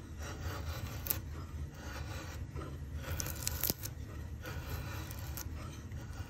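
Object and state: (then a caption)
Softwood axe-handle blank being shaved. A steel drawknife shaves the rounded top of a pale softwood axe-handle blank clamped in a vise. The result is a steady, rough scraping and rasping with a low, heavy body and brief bright ticks where the blade bites, with no ring after each stroke.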